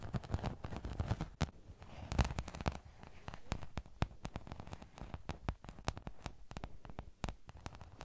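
A rectangular, sparkly glitter craft sheet is held upright beside a microphone and rubbed and scratched with fingertips and nails. The result is a dense, crackling rustle with low, rumbly handling noise, broken by many sharp, bright clicks and ticks that die away instantly.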